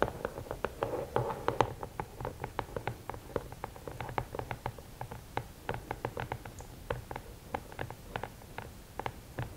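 Long painted nails tap rapidly on the top of the lid of a closed, hollow, rigid red and black cardboard gift box. The result is a quick, uneven run of short, dry clicks, each dying away almost at once, with a hollow mid-range knock near 840 Hz over a faint low rumble.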